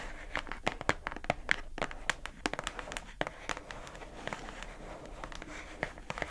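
Long acrylic nails tap the labeled lid of a pink, hollow plastic food container box held upright. The taps are quick, irregular, and sharp, with a bright plastic click near 1.8 kHz and almost no ring. A faint crinkly rustle sits underneath them.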